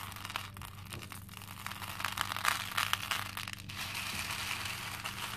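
Small cream plastic faux pearl beads in a pink plastic bowl are scooped and rubbed by both hands. The beads give a dense, bright clinking and rattling that swells and fades, with a steady low hum underneath.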